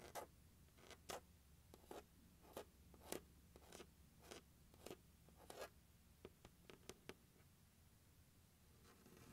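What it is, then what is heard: Plastic instrument case. Fingernails scratch and tap the lid of a large, hollow, closed turquoise hard plastic glockenspiel case resting on carpet. A series of short, dry scratchy strokes and crisp taps sounds over a quiet background, each one bright with a light hollow body and dying away quickly.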